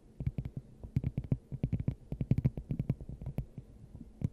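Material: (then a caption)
Glass. Long acrylic nails on both hands tap a clear, hollow, hand-sized glass dome fitted over the top of a microphone. About two dozen quick, uneven taps each give a short, deep, hollow thump with a faint bright click on top, and no lingering ring.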